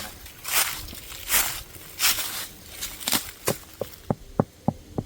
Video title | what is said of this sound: Big Tree Series: Ep 12 The Wilderness Center (TWC) Part 2 - Happy Earth Day 2025 - Ohio | As hollow as all can be